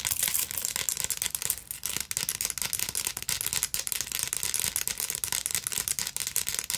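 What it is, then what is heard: Beaded purse scratched with nails. Long nails rapidly scratch and tap the beads of a black beaded sequin fabric purse with a metal clasp frame, held in the hands. The result is a dense, steady stream of bright, crisp rattling clicks and scratches with almost no low end.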